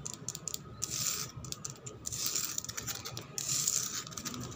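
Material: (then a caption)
Concrete. Long black pointed nails scratch and rub fast across a flat, solid concrete floor with worn paint that is wet and gritty. The result is a dense, bright, hissy scraping with quick rasping strokes and swells of louder rubbing, over a faint low rumble.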